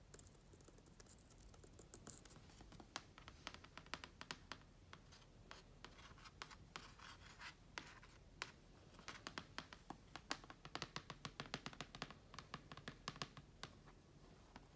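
Long dark-painted nails tap and scratch across a closed black plastic laptop lid covered in vinyl stickers, its hollow shell lying on carpet. Quick, dry clicks land in an irregular stream over a steady, bright scratchy rasp. Each tap dies away almost instantly, keeping the whole clip quiet and close.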